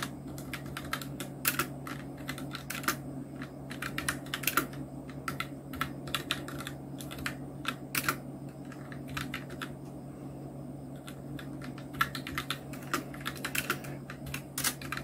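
Fingertips of both hands type steadily on a full-size black Nubwo Illution NK-70 mechanical keyboard with Outemu red switches, round plastic typewriter-style keycaps and blue backlight, resting on a white desk. The keystrokes come as quick, bright plastic clacks that die away almost instantly, in rapid uneven runs with brief pauses. A steady low hum sits underneath throughout.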